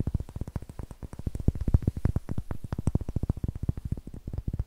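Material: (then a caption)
Wood. A large, solid, light-colored wooden block held near the microphone is tapped by fingertips and nails in a rapid, steady run of about forty taps. Each tap is a short, dull, low thud with almost no ring.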